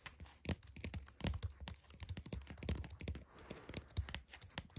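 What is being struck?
Plastic computer keyboard.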